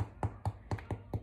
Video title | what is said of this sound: How to bake an easy crusty bread loaf | flip it over and tap the bottom and you can hear that it's Hollow and that's when you know your bread is done